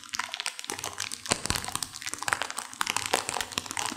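A sealed plastic instant-noodle packet with dry noodles inside is squeezed and crinkled by hands and long nails, crunching the noodles. The result is a steady stream of bright plastic crinkling, broken by many sharp, dry cracks and crunches that stop almost instantly, with very little low end.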